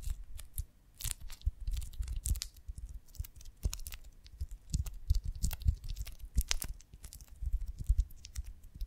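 Long nails tap and scratch the waxy cells of a large oval beeswax honeycomb on a branch, held in both hands. Dense, irregular crackling scratches and quick taps mix dull low thumps with bright, crisp ticks that die away almost instantly, coming in uneven bursts throughout.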